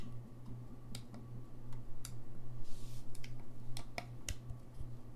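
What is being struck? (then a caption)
Brass saxophone keys and pads. A gold-lacquered brass saxophone is held in the hands while fingertips press and click its keys and pads, tapping the key mechanism without playing it. Short, sharp, bright clicks and soft pad taps come at an uneven pace over a steady low hum.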